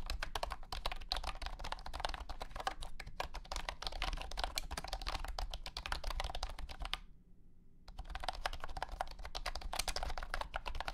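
Fingertips type continuously on a compact white and blue plastic wireless keyboard with round hexagonal honeycomb keycaps and a hollow body. It makes a rapid, dense run of short, dry plastic clacks centered in the midrange, with bright edges and a steady low rumble beneath. The typing stops for about a second near the seven-second mark, then resumes at the same fast pace.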